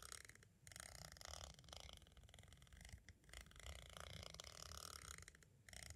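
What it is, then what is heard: Plastic audio cassette. A pointed, green-striped tool scratches and traces across the small, hollow white hard-plastic shell of an audio cassette. The result is a steady, rough scraping texture with a low rumble underneath and a bright, hissy top, broken by a few brief pauses.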